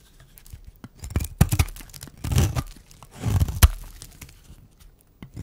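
A metal blade shaves flakes from the corner of a solid, dry white bar of soap held in the hand. Short, crisp scraping and tearing bursts crackle through two longer shaving strokes, with brief pauses between them. Thin flakes of soap come away from the bar.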